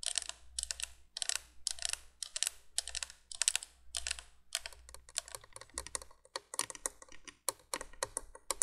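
Long nails tap rapidly on the hollow plastic candle tubes of a 1980s plastic window candolier, then move to its flat plastic base. The taps come as dense bursts of bright, dry clicks with almost no ring, over a faint low steady hum.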